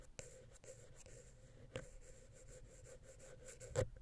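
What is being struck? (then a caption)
Metal microphone capsule scratched with a wooden pick. A wooden ear pick scratches the center of a silver metal XY stereo microphone capsule on a Zoom H6 recorder. Soft, close scratching and rubbing runs over a steady low hum, with a few sharper ticks and a louder scrape near the end.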